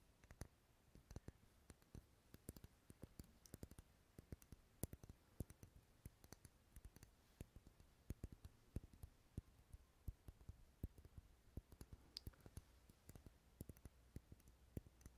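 Fingernails tap and scratch a large, dark red solid wax pillar candle held in the hand. Many quiet, dry clicks and taps follow one another in a steady, irregular patter over a faint soft scratching. Each hit dies away almost instantly, with most of its weight in the low end.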